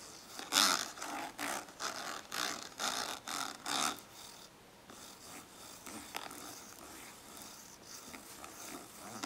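Long acrylic nails tap and scratch a small, hollow, translucent orange ribbed plastic index card case resting on paper. About eight distinct bright, rasping scrapes come first, followed by quieter, softer scratching and light tapping.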